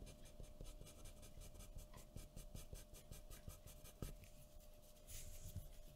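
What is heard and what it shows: A graphite pencil draws short scratching strokes on a white paper sheet resting on a wooden table. Quiet, rapid, dry rasps repeat steadily, with a sharper stroke near the four-second mark and a brighter, longer scrape just after five seconds.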